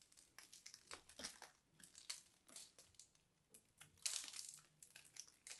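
A small knife blade scrapes and carves the crusty surface of a fist-sized, solid, crumbly purple-and-white dried soap ball held in the hands. The clip is a quick run of bright, dry crackling and crunching scrapes, with a few louder gritty bursts near the end. There is almost no low end.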